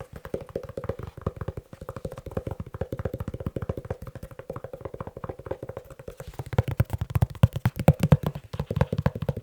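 Rapid fingertip-style tapping on a leather shoe, with no talking, produces a dense stream of short, dull, low thuds with almost no ring. The taps stay steady and soft for most of the clip, then grow louder and heavier toward the end.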